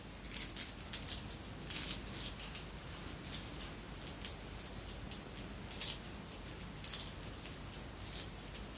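A long necklace of red and clear beads, apparently glass, with metal links, is held dangling and moved with the fingertips so the beads clink together. Soft, bright, high clicks and light patter come in scattered bursts over a low, steady background hiss, each clink dying away almost at once.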